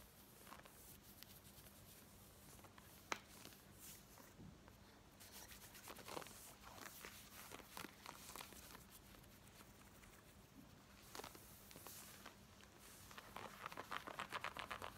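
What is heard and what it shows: Long nails scratch the back and front of worn black denim jeans, producing quiet, fast, rasping strokes with brief bright transients over a faint low hum. The scratching grows denser and more rhythmic toward the end.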